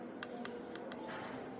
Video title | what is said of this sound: raket serang istimewa raket aeronaut 9000 punya ginting plus tips milih raket lining yang pas | catnya tuh bagus, hampir seperti kayak plastik ya, tapi sebenarnya kalau dipukul ya bunyinya gitu